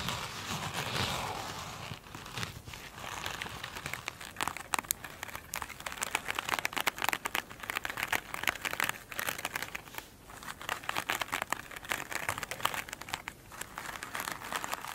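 Long nails scratch a single soft, solid foam sponge with a glitter-beaded top as it rests on a table. Dense, rapid crinkling and crackling scratches with a bright, hissy edge continue throughout, easing briefly near the two-second and ten-second marks.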